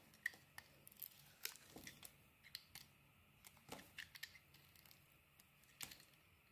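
A metal blade carves slices off the edges of a palm-sized, solid pink and orange bar of soap held in the hand. Quiet, crisp scraping and short bright cutting clicks come in irregular bursts, with brief shaving sounds between cuts over a low, soft background.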